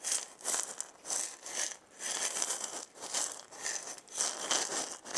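A hand-sized round wooden maraca with a wooden handle and a burned zigzag pattern, hollow with filling inside, is shaken by hand. It gives a series of dry, bright, hissing rattle bursts that rise and fall in loudness, with almost no low end.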